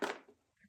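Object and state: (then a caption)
Hard objects in a bag. A hard, unidentified object inside a bag is knocked on twice to show that it is hard, not soft. The result is a strong dull knock with a mid-pitched thud around 400 Hz that fades within a tenth of a second, followed by a fainter second tap.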